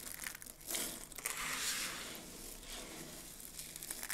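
Fingers rake through and crush a heap of mixed dry soap flakes. The result is a quiet, dense, crackling crunch that is mostly bright and high with very little low end. It swells in the middle and ends with a few sharper crackles.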